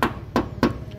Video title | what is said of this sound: DATSUN T OPTION 2016- Review Mobil Dan Tips Membeli Mobil Bekas Oleh Rian Mobil | Jadi kalau sudah bunyinya seperti ini, berarti bodi itu tidak ada dempul